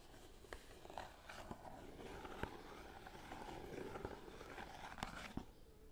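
Long nails tap on the top edge of a small green Lord Nelson cardboard tea box, hollow with tea bags inside, held up in front of the microphone. Quiet, dry, short clicks rise above a soft, continuous scratchy rustle and fade almost at once.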